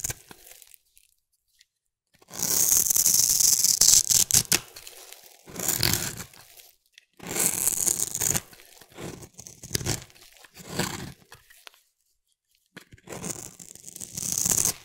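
A metal blade scrapes a solid oval orange bar of soap held in the hand, shaving off crumbly flakes. It makes bright, dry rasping strokes in uneven bursts separated by short pauses.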